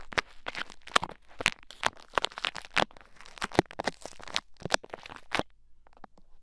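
Pink bead play foam packed into the ear of a mannequin head microphone is picked and poked with two thin wooden sticks. The result is a rapid string of close, crunchy, crackly bursts with bright, crisp edges, each stopping almost instantly. The crackling thins out to faint, sparse ticks near the end.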